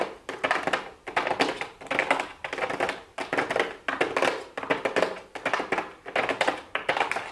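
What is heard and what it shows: Super long blue acrylic nails tap with their fingertips on a pink cardboard makeup palette box with a clear plastic window lid, lying flat on a wooden desk. Quick clusters of crisp, clicky taps come in bursts about once a second, bright and papery with almost no low end. Each cluster fades quickly, with light scratching between the taps.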